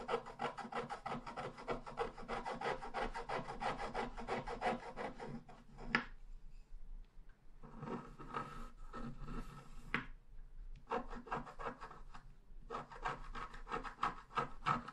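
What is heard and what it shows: A wooden stylus scratches along the bottom edge of a thin sheet of scratch art paper lying flat. Quick, rhythmic rasping strokes come in bursts, with two short pauses of softer scratching, giving a dry, papery scrape with a bright edge.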